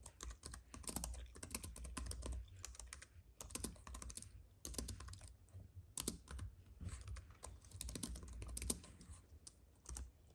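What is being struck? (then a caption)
Plastic keyboard on an aluminium base. Fingertips of both hands type fast on a compact white keyboard with plastic keys on a thin aluminium base, resting on a fuzzy mat. The result is rapid, dense bursts of soft, dull key taps with bright clicky edges and a low, muffled thump, each stopping almost instantly, broken by brief pauses.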